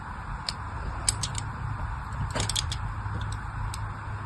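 A small blade cuts fine grooves into a solid pink and white striped glycerin soap bar held in the hand. It makes a series of short, crisp, bright scraping ticks over a steady low background hum.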